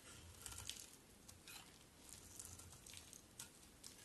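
A solid white bar of soap with black-coated edges, held in the hand, is shaved into thin flakes with a utility knife blade. Soft, crisp scraping and crackling strokes come in short bursts, bright and quiet, over a low background rumble.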